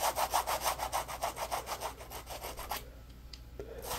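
Fingertips rub and scratch the rough surface of a yellow textured polymer foam Scrub Daddy puppy sponge held in the hands. The result is a fast, steady run of dry scratchy strokes, about three per second, with a papery midrange hiss. After almost three seconds the strokes stop, leaving quieter faint scrapes and light taps.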